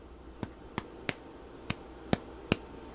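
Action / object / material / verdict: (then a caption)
tap / bread loaf / bread / hollow. A freshly baked homemade bread loaf, just pulled out of its pan, is tapped six times, giving short, dull, hollow knocks with almost no ring. The hollow sound shows the loaf is baked through and done.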